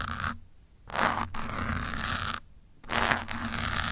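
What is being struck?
Foam microphone windscreen.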